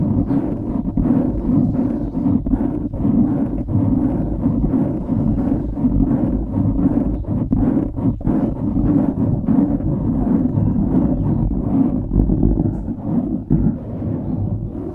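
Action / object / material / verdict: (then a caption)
scrape / foam microphone windscreen / foam / none. Fingertips scratch the sides and top of a dark grey foam windscreen on a microphone, producing a dense, continuous rustling scrape. The sound is dominated by low and low-mid rumble with frequent short scratch transients. It has almost no high-frequency content and a steady, close, muffled texture throughout.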